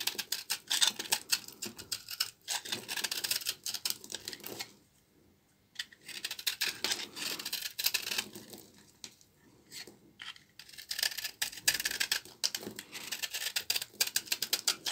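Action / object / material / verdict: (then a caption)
scrape / bar of laundry soap scraped with a knife / soap / none. A small knife blade scrapes and cuts flakes from the rough, fibrous end of a solid rectangular bar of dry, old laundry soap held in one hand. Dense bursts of crisp, bright scraping and crackling come in quick strokes, with almost no low end. The scraping pauses briefly near the five- and ten-second marks before resuming.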